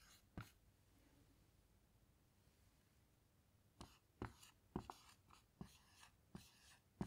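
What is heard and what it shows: A felt-tip dry-erase marker writes letters on a small flat handheld dry-erase whiteboard with a grid-textured surface and a light plastic frame, lying on a table, while long patterned nails rest beside it. After one early tap and a quiet stretch, a series of short, dry taps and scratchy strokes follows as the marker glides and scratches across the board.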